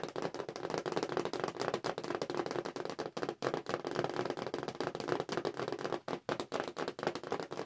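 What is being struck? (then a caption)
Cardboard blister-card toy package. Long fingernails tap quickly across the cardboard backing card of a Star Wars action figure package, held upright with the toy figures inside. The result is a dense, uneven stream of dry, clicky taps with almost no ring, centered in the mid range. Brief gaps break the rhythm a few times.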